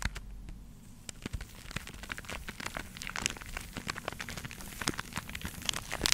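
A hand-sized, porous yellow foam sponge block, solid and soft, is held in one hand while long acrylic nails of the other hand scratch and tap it close to the microphone. Dense, crinkly scratching runs throughout, broken by many quick, dry taps with bright, crackling highs and a low rumble underneath.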